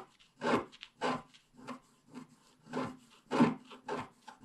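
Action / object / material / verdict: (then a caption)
scrape / coated scratch-art paper scratched with a wooden stylus / coated paper / none. A wooden stylus scratches through the black coating on the left side of a flat scratch-art paper page. It makes a series of short, dry rasping strokes at an uneven pace, with soft pauses between them. The scratches have a papery, mid-range grit with a faint low tone.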